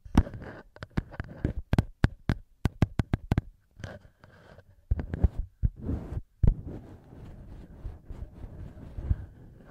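Fingertips tap and rub directly on the two small cylindrical metal microphone capsules of a handheld recorder. A quick series of close, dull, bass-heavy taps with sharp clicky edges gives way to softer scratchy rubbing and muffled brushing against the capsules.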